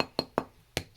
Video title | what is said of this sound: Bread making forth and final video | hear the hollow sound. Sounds like you're trying to hammer. That's how you know it's likely done.